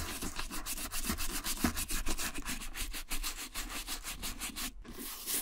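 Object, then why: Suede leather boot upper. A small wooden-handled dauber brush with light bristles scrubs the tan rough-out suede or nubuck shaft of a Frye Vintage two-tone boot, held in a gloved hand, working around the strap and buckle. Quick back-and-forth strokes make a steady, bright, scratchy rasp with a soft low rumble underneath, pausing briefly near the end before resuming.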